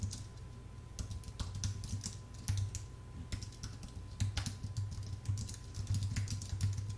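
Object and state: Aluminium and plastic keyboard.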